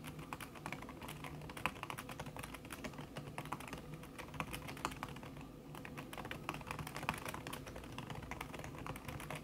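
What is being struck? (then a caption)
Laptop keyboard with silicone key cover. Fast fingertip typing with long nails on a backlit laptop keyboard in a silver aluminum body, its keys covered by a thin red silicone skin. The keystrokes come as a dense, continuous stream of soft, muted clicks and taps with very short decay over a low steady hum, with occasional sharper accents standing out.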